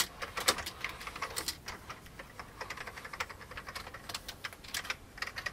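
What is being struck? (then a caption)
Plastic computer keyboard. Fingertips type steadily on the keys of an old, full-size vintage beige plastic computer keyboard. A quick, uneven run of light, clacky keystrokes sounds, each click short and bright with almost no low end. Occasional keys strike louder than the rest.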